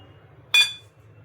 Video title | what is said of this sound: मकर संक्रांत स्पेशल तिळगुळाचे लाडू -Winter Special Til Gud Ke Laddu #makarsankranti#tilgudladoo | दगडासारखा आवाज येतोय म्हणजे आपला पाक इथे रेडी झालाय